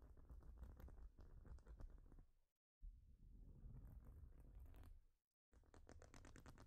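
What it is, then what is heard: Plastic studded baseplate. Long nails tap and scratch across a large, flat plastic Lego-style studded baseplate, making a dense, rapid patter of dull, low-heavy clicks. The sound comes in three bursts separated by two brief silences.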